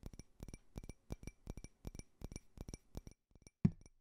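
Painted fingernails tap on a small, clear, hollow, faceted glass drinking tumbler that appears empty and is held in the hand. Quick clusters of soft, dry clicks carry a faint bright glassy ring that dies away almost at once. A single louder, thumpier tap closes the sequence.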